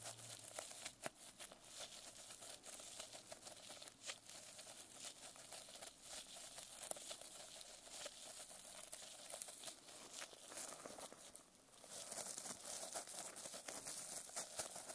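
Fingernails scratch and tap the plastic sequin cover of a notebook resting on a lap. The result is a quiet, bright, crinkly rustle dotted with short, sharp clicks. Near the end it briefly dips, then returns as denser, brighter scratching.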